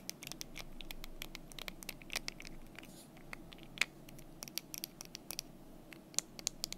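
Long nails tap and scratch the front of the solid cubes in a small painted wooden block desk calendar, held close. Around thirty quick, dry, bright clicks with almost no ring stand out over a soft, steady scratching hiss, with the strongest taps near 3.8 and 6.2 seconds.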